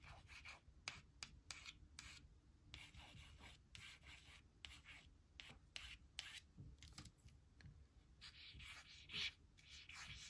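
Long nails and then a white plastic stylus trace the letters of a thin, flat laminated cardstock word strip reading "who will / who'll" as it lies on a woven blanket. Soft, bright rubbing and scratching strokes come in short bursts against a low, steady background rumble.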